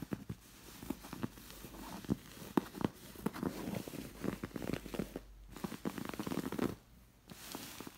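Long nails scratch and trace a stitched red fabric elephant appliqué and its stitching on a stuffed cream cotton pillow. The result is quiet, dry, scratchy rustling in quick irregular strokes, with a few sharper scrapes and two brief pauses.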